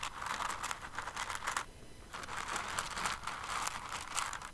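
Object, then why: Pile of small plastic rhinestones. Fingers with long nails dig into and stir a pile of plastic rhinestones in an open clear container. The result is a dense, bright rattling and crinkling, with a brief quieter pause midway before the stirring picks up again.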